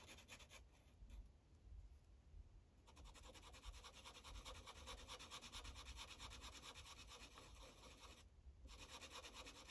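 A yellow Sharpie felt tip rubs back and forth on a thin paper coloring page resting on a clipboard, coloring in small shapes. Quick, scratchy strokes make a steady bright hiss over a low rumble, growing denser after a quieter start and briefly dropping out near the end.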